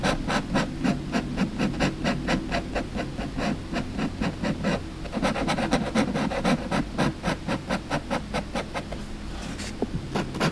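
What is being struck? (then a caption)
Felt-tip marker on a paper coloring book page. A lilac felt-tip marker is scratched and rubbed across a printed mandala page of an open paperback coloring book lying flat on a table, in short coloring strokes while the other hand holds the page down and a lapel mic rests on the page. Rapid, fairly irregular scratchy strokes, about two per second, come through close and full with a low rumble underneath.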